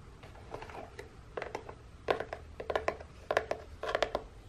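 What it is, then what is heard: Cardboard box. A hollow printed corrugated cardboard box is tapped and scratched quickly on its side and end with long painted nails. The sound is a soft scratchy rustle broken by quick, irregular, dry taps with a hollow midrange knock. The taps grow louder and cluster in bursts toward the end.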